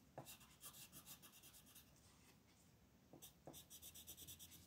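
A green wooden colored pencil rubs in dense, fast strokes across a flat printed paper coloring sheet lying on a desk, while the other hand with red nails holds the sheet. Quiet, bright, scratchy strokes come in quick rhythmic bursts, easing into softer continuous rubbing in the middle before the brisk strokes pick up again.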